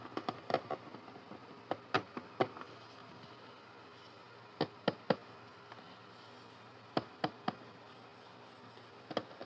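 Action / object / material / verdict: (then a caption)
tap / hard plastic carry case / plastic / none. Fingertips and short nails tap and scratch the lid and front of a closed, medium-size white and pink hard plastic toy doctor carry case, hollow with toys inside. Fifteen short, hollow clicks and knocks come in loose bursts over quiet stretches, each dying away almost instantly.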